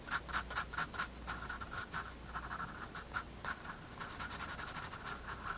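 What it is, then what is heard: Pencil scratching on sketchbook paper. A graphite pencil makes repeated short scratching strokes on a page of a spiral-bound white paper sketchbook resting on a wooden desk. The strokes come as a quick, uneven series of dry, bright scratches centered around 1.4 kHz with high hiss, each dying away almost instantly over a faint low hum.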